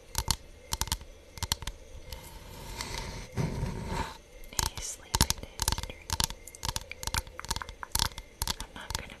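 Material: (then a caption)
Bamboo. Long nails tap and scratch across a thin, solid hexagonal bamboo board engraved with a honeycomb pattern. Quick, dry clicks come in bursts, with a softer stretch of continuous scratching in the middle. Each tap stops almost instantly, with no ring.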